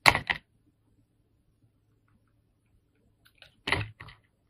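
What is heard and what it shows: A solid yellow soap bar held in the hand is shaved with a steel utility knife blade, giving four short, bright scraping strokes: two at the start, then a long quiet gap with faint soft handling ticks, and two more at the end.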